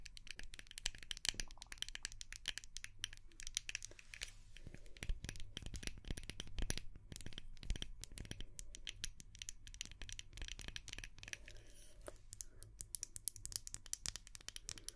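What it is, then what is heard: Wax-filled glass candle jar. A small white glass candle jar with a dark lid, filled with solid wax, is held in the hands and tapped and scratched with long painted nails. A dense run of quick, sharp clicks and scratchy taps sounds bright and crisp over a soft low hum, each tap dying away almost instantly.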